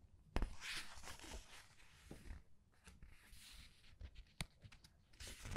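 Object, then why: Glossy paper book pages. Glossy paper pages of a large art book are flipped and rubbed by fingers, giving quiet, bright rustling and sliding swishes. A few sharper papery snaps stand out over soft, low thumps of the pages settling.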